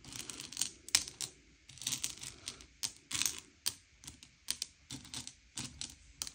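Fingertips slide and push a pile of small, hard, sugar-shelled M&M's candy-coated chocolates across a grey plate, sorting them by colour. The result is quiet, bright clicking and rattling as the shells tap and scrape against each other and the plate, in short dry bursts with no ring.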